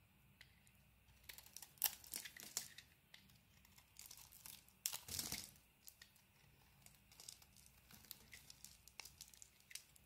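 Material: Soap.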